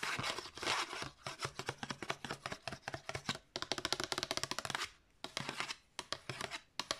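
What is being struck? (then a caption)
Paper disc sleeve. Long nails rub and scratch quickly over the flat surface of a thin cream paper or card disc sleeve with a disc inside. The result is a rapid run of short, dry, bright scratching strokes with almost no low end. The strokes break off in brief pauses near the end.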